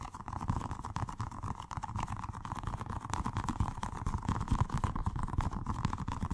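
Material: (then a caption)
Rubber, gel. A small, colorful, soft squishy stress ball, with a rubber skin filled with gel water beads, is held in the hands and rapidly tapped and squeezed with the fingertips. The result is a fast, dense, irregular stream of low, wet, muffled squishing thuds that stays steady and grows slightly louder toward the end.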